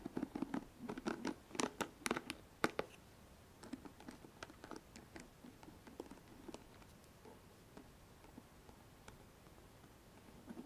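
Long nails scratch across the plastic pins and cushion of a pink paddle hairbrush, making quick, dry, crackly scrapes and clicks with a lower body and bright tips. The scratching is dense and loudest in the first three seconds, then thins into quieter, scattered flicks with short pauses.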